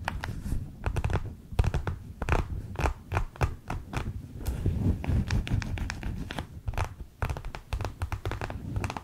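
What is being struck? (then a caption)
Plastic gel bead eye mask. Long acrylic nails tap, scratch and squeeze a flexible clear plastic gel bead eye mask, a pack filled with green gel beads with a light blue rim. Quick, dull taps and soft scratchy crinkles come in irregular bursts, mostly low and muffled, with squishy stretches between them and no ringing after each touch.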